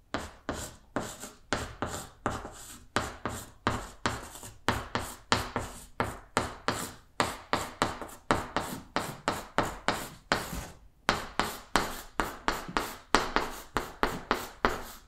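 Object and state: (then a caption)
Chalk writing on a blackboard. Chalk held in the fingers writes a second line of Korean letters on a large, flat, solid green blackboard. It makes a steady run of short, dry scratching strokes with quick, bright taps and almost no ring. Each stroke is separate, with brief gaps between them.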